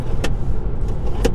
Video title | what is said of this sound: TEST DRIVING the New 2024 Tesla Model 3 AWD - Watch BEFORE you Buy! | to hear the sounds of it, it sounds really really cheap